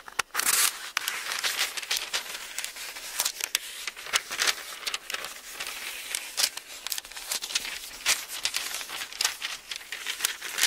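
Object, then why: Thin paper book pages. Thumbs and fingertips turn and crinkle the thin paper pages of an open Bible one at a time. The result is a steady run of bright, dry crinkling and rustling, with quick crackly bursts and almost no low end.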